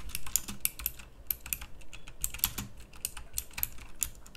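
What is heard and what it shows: A pink plastic mechanical typewriter-style keyboard with round plastic keycaps is typed on with fingertips. Crisp, bright clicks come in quick uneven bursts, each short and sharp with a faint low thump beneath. Around 18 distinct keystrokes sound over the few seconds.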